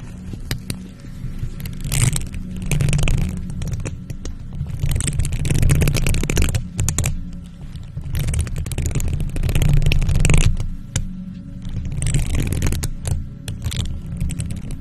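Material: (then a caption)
Metal mesh. Long nails on faux leather gloves scratch a hollow silver metal mesh microphone grille, making swelling bursts of rough scraping. The sound is a dense, rumbling low texture topped with bright hissy streaks, rising and falling in waves with brief sharp clicks between them.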